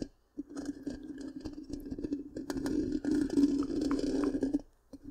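Long pink-painted nails scratch the black, round, hollow metal mesh grille of a large microphone, making a dense, rapid rasping with a steady hollow hum around 285 Hz. The scratching grows louder and brighter partway through, stops abruptly, then returns with a brief final scrape.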